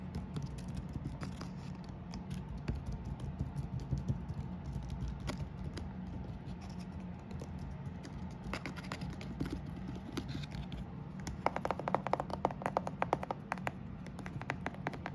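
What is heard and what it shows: Fingernails scratch and tap along the roof and walls of a gingerbread house covered in icing, candy dots and peppermints. Quiet, dry scratching and soft clicking patter runs over a low rumble, and the taps turn sharper and denser near the end.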